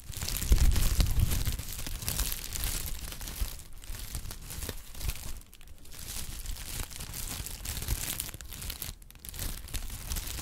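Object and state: Honeycomb kraft paper wrap.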